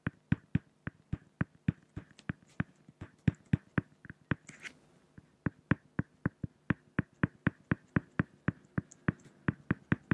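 A pen makes drawing strokes on a flat, solid acrylic (plexiglass) sheet, producing a steady run of about 36 sharp, dry taps that stop almost instantly. Each tap has a low knock with a bright, crisp edge, and a brief scratchy hiss of the pen sliding on the surface is heard near the middle.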